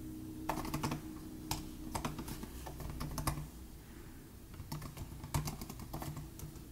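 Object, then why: Plastic laptop keyboard keys. Fingertips from both hands type fast on the low-travel plastic butterfly keys of a silver aluminum 2018 MacBook Air laptop. Quick, sharp clicking taps come in uneven bursts with brief pauses, over a low steady hum.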